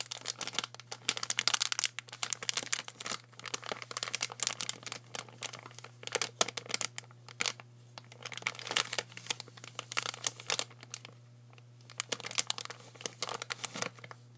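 Long fingernails tap and scratch across a pink polka-dot soft plastic wet wipes pack, full of wipes and lying flat on a wooden table. Dense, bright crinkling taps and scrapes come in quick bursts with short pauses between them. A faint steady low hum runs underneath throughout.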